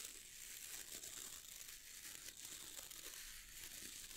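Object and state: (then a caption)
Boar bristle brush being scratched. Fingertips scratch and strum across the stiff dark bristles of a wooden-handled boar bristle brush. A quiet, steady, bright crinkling hiss runs throughout, with faint rises where the strokes swell.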